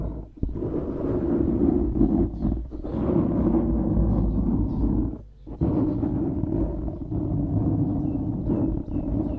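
A dark grey foam windscreen over a microphone, soft and porous, is scratched and rubbed by the fingertips and short nails of both hands. It makes a dense, continuous low rumbling scratch with brief dips near the start, at about 2.7 seconds, and around 5.3 seconds.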